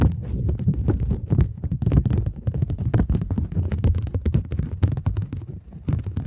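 A thin plastic polymer £20 banknote, folded and held low in the hands, is scratched with long nail tips. The result is a dense run of rapid, short scratchy crackles and ticks over a muffled, bass-heavy rumble, with sharp, bright clicks poking through.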